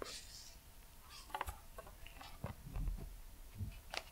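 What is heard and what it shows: Fingertips and nails tap and scratch the cover of a brown leather journal held upright close to the microphone. Five soft, dull taps stand out against a quiet, low-heavy rustling scrape, each dying away almost instantly, with brief bright scratchy edges.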